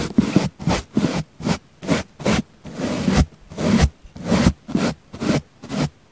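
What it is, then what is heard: Foam sponge brushed with a bristle brush. A paint brush with natural bristles brushes against the side of a round, solid, soft pink foam sponge. It makes a steady series of short, soft scraping strokes, each a muffled rub with a low, full body and little brightness. The strokes are separated by brief near-silent pauses.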